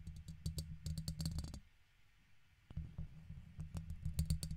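A red plastic guitar pick repeatedly scratches and taps the side of a silver microphone's hollow metal mesh grille. Quick, irregular ticks and scrapes come through as deep, boomy thumps with bright clicks on top. They stop briefly at about the middle of the clip before resuming.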